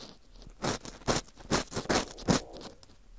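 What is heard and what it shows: An orange plastic earpick scrapes inside the center hole of a dry, porous slice of dried wheat gluten fu ring. Five dry, crunchy, rasping strokes rise out of a quiet background, each a brief broadband burst reaching into the high range. The strokes come at an uneven rhythm with faint crackling between them.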